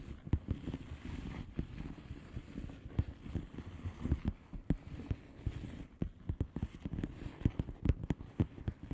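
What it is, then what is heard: Bubble wrap envelope tapped with nails. Long painted nails of both hands tap on a flat blue plastic bubble wrap envelope with air-filled bubbles. The result is a steady run of soft, dull, low taps, each dying away almost at once, over a quiet rustling bed.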